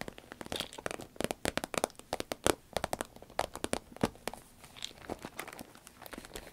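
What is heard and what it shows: Long red nails squeeze, scratch and tap a small, hollow, soft cylindrical zip pencil case made of shiny green crinkly vinyl. A rapid run of crisp crinkling clicks and taps with bright, dry, short transients and almost no ring; the middle stretch is louder and denser before it thins to softer scratching.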